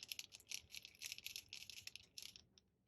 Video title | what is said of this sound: Simple Pattern Poppies | you can hear that little agitator ball in there mixing the liquid with the pigment